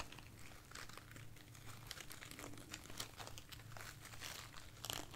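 A light, soft bunch of white artificial foam roses is held in one hand and scratched and tapped with long nails. Dense, quiet crinkling and scratchy rustling runs through the clip, with bright crisp ticks from the taps over a steady low hum.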